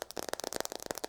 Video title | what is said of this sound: ASMR - Aggressive Nail Tapping with Long Nails | almost like hollow sound to the taps. It's also a little deeper in tone.